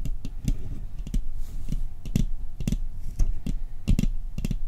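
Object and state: Metal cookie tin.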